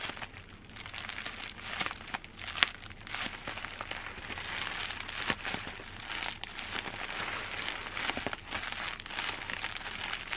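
Crumpled clear plastic bubble wrap is scratched and squeezed by fingertips with long green-black nails, producing steady bright crinkling and crackling with scattered sharper pops.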